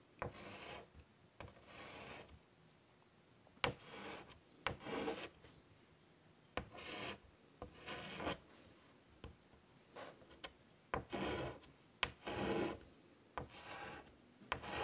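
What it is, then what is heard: Chalk drawing on a wood-framed chalkboard. A hand with pink nails draws small leaf shapes with a white chalk stick on a large, flat chalkboard in a light wood frame. Short, scratchy, rasping chalk strokes alternate with brief rubbing passes, broken up by sharp little taps as the chalk meets the board. Quiet gaps fall between the strokes.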